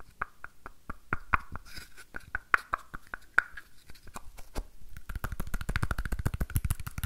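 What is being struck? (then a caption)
Small painted wooden box. A small, hollow, red and orange painted wooden box is held in both hands and scratched and tapped with fingernails. Sharp, dry taps with a short hollow ring around 1.5 kHz come at an uneven pace with brief scratchy stretches between them. The taps then speed up into a fast, dense flurry toward the end.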